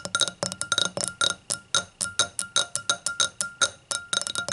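Long acrylic nails tap and click on the bowl and foot of an empty, clear, stemmed hurricane glass with a hollow, thin-walled bowl, resting on a towel. About twenty-two quick, uneven taps come in clusters, each a sharp, bright glassy clink with a steady ringing tone near 3.8 kHz that dies away almost at once, with very little low end.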